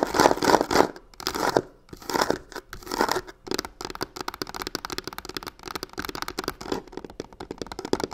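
Long pink nails scratch and tap rapidly and aggressively on both faces of a hollow corner of a black croc-textured faux leather covered box. The first few seconds are broad, rough scratching swells, then quick, irregular dry taps and scrapes follow in a steady patter. The sound is crisp and bright with almost no low end and no ring after each hit.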